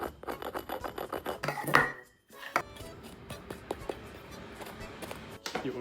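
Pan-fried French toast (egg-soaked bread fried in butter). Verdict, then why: Crispy. A crunch test on pan-fried French toast, bread dipped in egg, milk and whey and fried in butter, produces a rapid run of dry, rasping scrapes. A brief silence follows, then softer, scattered crackles with a sharper crunch among them. The toast turns out ordinarily crispy rather than very crispy.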